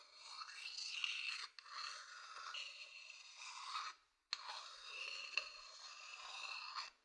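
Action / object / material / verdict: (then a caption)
scrape / wooden bowl base scratched with a thin wooden stick / wood / none. A thin wooden stick scratches across the outer base of a medium hollow wooden bowl. The sound is a bright, dry, hissy scrape with no low end, heard as sustained passes that pause briefly around 1.5 seconds and fall silent just before 4 seconds, before a final long pass.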